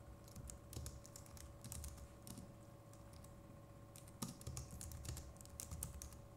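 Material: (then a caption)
Plastic. Fingertips of both hands type steadily on a compact Logitech MX Keys Mini keyboard with plastic keycaps. Soft, quiet key clicks with bright ticks and dull low thumps run throughout, over a faint steady hum, and one sharper keystroke stands out just past the four-second mark.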